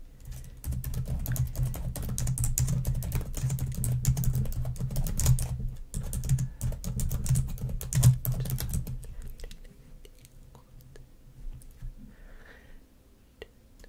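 Long nails tap quickly across the keys of a black plastic laptop keyboard, giving a dense, uneven run of light clicky taps over a steady low hum. After about nine seconds the tapping fades to a few scattered, quieter clicks.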